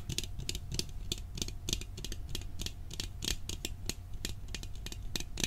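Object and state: Metal cookie tin.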